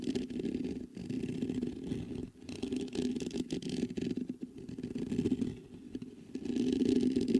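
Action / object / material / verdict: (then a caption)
scrape / metal microphone mesh grille / metal mesh / none. Fingertips patter and scratch across the mesh grille of a black metal USB microphone, making a dense, irregular rustling with a muffled, low-mid body. Brief pauses break it up near the one- and two-second marks, and the scratching swells louder toward the end.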